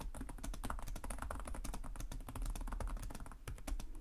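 Fingertips of both hands type rapidly and continuously on a black plastic laptop keyboard with low-profile chiclet keys and a hollow body. The result is a steady stream of quick, soft plastic clicks with short, dull thumps and almost no ring.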